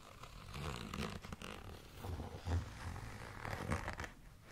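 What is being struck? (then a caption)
Clear plastic zip pouch. Long nails scratch across a tall, transparent holographic plastic zipper pouch with lettering and contents inside. The result is a steady, crinkly scraping and rustling that swells in several short bursts, with a soft low rumble underneath and little bright edge.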